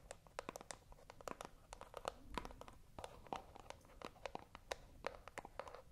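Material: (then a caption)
Cardboard. A small, hollow white cardboard box, held in both hands close to the microphone, is scratched with long acrylic nails. The result is a quiet, continuous stream of dry, rapid scratching and tapping clicks, with sharp bright transients and a faint hollow resonance around 500 Hz.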